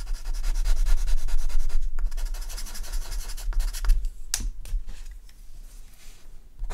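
A dark charcoal pencil held in the fingers draws repeated scratching strokes across a flat sheet of artist's paper on a table, shading around a horse's muzzle and neck. Quick, rhythmic, bright scratchy rubbing is loudest through the first two seconds, then grows softer, with a few sharper strokes near the middle. The strokes fade to quieter, lighter scratching by the end.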